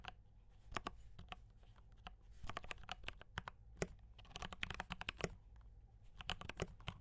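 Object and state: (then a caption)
Mechanical keyboard with plastic keycaps. Fingertips type continuously on a compact D84 mechanical keyboard with brown switches and cream and red plastic keycaps. Short, dry clacks arrive in irregular bursts, each with a bright top and a soft low thump, and they stop almost at once over a quiet low background hum.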